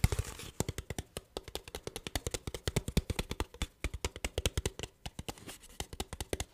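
An empty, hollow, clear ridged plastic water bottle with a blue cap is tapped and scratched with fingertips and nails. Dozens of quick, dry taps follow one another in an uneven rhythm, each with a low, hollow thump and a bright clicking edge, and faint scratching fills the gaps between them.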